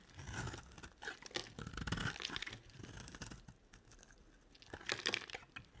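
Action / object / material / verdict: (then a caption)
scrape / bar of soap scraped with a knife blade / soap / none. A utility knife blade carves and scrapes a dry, rectangular olive-green solid bar of soap. It makes crunchy, crisp scraping and tearing sounds with bright crackles, coming in uneven bursts that rise near the start, around two seconds and again near five seconds.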